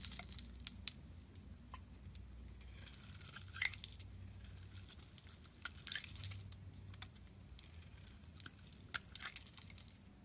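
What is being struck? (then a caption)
Bar of soap. A metal box-cutter blade shaves the edge of a solid, rectangular, light-blue bar of soap held in the hand, peeling off curls and flakes. The result is a quiet, dry, crisp scraping and crackling with many short, bright ticks over a steady low hum.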